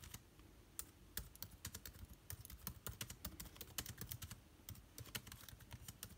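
Rapid fingertip typing on an aluminium laptop keyboard with plastic keycaps produces a quick, irregular run of short, crisp clicks. Each tap has a bright top and a soft low thud, and dies away almost instantly.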